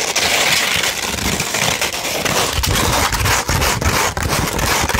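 Fingertips and long nails scratch and rub across a flat sheet of sandpaper. The result is a continuous, dense gritty scraping with a bright, hissy texture and a faint low rumble underneath, broken only by a few brief dips as the strokes change.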